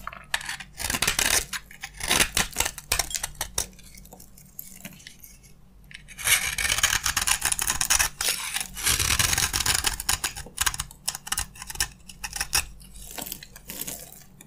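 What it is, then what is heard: Dry bar soap being scraped. A utility knife blade scrapes and cuts into a green, solid, hand-sized bar of dry soap held in the hand over a wooden table. Bright, crunchy scraping and crackling come in irregular bursts with quick, dry clicks. Crunchy flakes shave off the soap.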